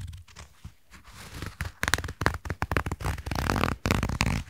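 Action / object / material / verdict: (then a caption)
scrape / leather waist bag with metal studs and rings / leather / none. A medium brown leather-look fanny pack, a hollow waist bag with metal studs and rings, is held close to the microphone and scratched and tapped with long nails on the leather and the metal hardware. Quick, irregular taps and scratches give low hollow thuds mixed with crackly rustling and brighter clicks from the metal. The scratching swells into a denser, continuous crackle toward the end.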